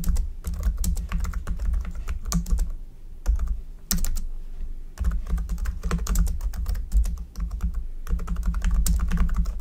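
Fingertips of both hands type continuously on a black plastic computer keyboard, producing rapid, sharp, bright clicks and clacks with a few brief pauses. A steady low hum runs underneath the typing throughout.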